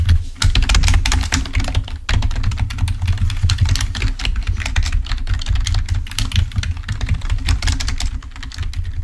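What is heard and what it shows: Fingertips of both hands type rapidly on a full-size black plastic Microsoft membrane keyboard, wired and lying on a white table. A dense stream of short, bright plastic key clicks rides over a steady low hum, with brief pauses near the start and around the two-second mark.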